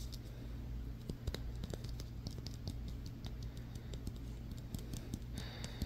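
Fingertips and nails quickly tap and scratch the stitched leather cover and stitching of a solid, hand-sized yellow softball held in the hands. Sharp, dry clicks and short scratchy rasps sit over a steady low hum.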